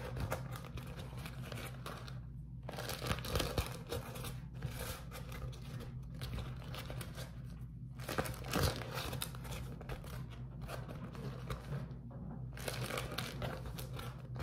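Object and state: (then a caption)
Beeswax-coated cotton food wrap. A beeswax-coated cotton food wrap is squeezed and crumpled in the hands and pinched by the fingertips. It makes dense crinkling and crackling in bursts, separated by brief quiet pauses, over a steady low hum.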